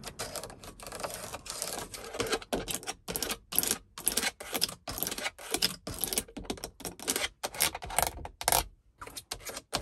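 Long acrylic nails tap and scratch a hard grey plastic overhead light console on a car ceiling, a hollow moulded panel with light lenses and a sunglasses holder. Quick, bright, dry clicks come in bursts with scratchy rasps between them and almost no ring after each tap.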